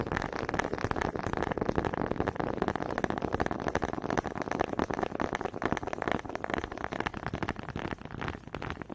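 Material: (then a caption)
Wood. Two small solid wooden honey dippers with grooved heads, held in both hands with long red nails, are knocked together in front of a microphone. The result is a steady stream of quick, dry wooden taps and clicks with almost no ring, sitting mostly in the mid range.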